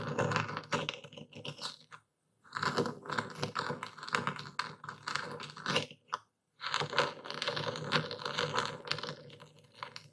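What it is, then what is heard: Epsom salt crystals being crushed. A dark stone pestle is pushed down into a wooden bowl full of coarse white epsom salt, crushing the crystals while a hand steadies the bowl's rim. Dense, bright crunching and crackling grains sound in three long bursts, separated by brief silences near two and six seconds.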